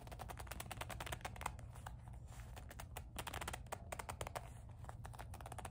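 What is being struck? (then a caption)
Leather coin purse with metal clasp frame. Long nails scratch and squeeze the soft body of a small black leather kiss-lock coin purse with a metal clasp frame. A dense stream of quick, dry ticks and scrapes, bright at the top, runs over a steady low hum.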